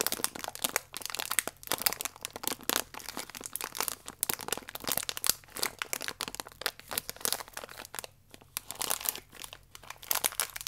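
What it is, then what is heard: Plastic biscuit wrapper. A plastic wrapper with one cereal biscuit inside is crinkled with fingertips and nails, then laid flat and pressed. Dense, bright crinkling and sharp crackles run nearly continuously, with brief quiet gaps between bursts and almost no low end.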